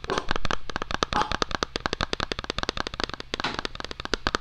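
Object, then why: Small cardboard product box. Fingertips and short nails rapidly tap and scratch the flat face of a small, hollow white cardboard product box, Apple-style, held in both hands. The sound is a dense run of sharp, dry clicks over a soft scratching texture. Each tap dies away almost at once, with a faint low hum underneath.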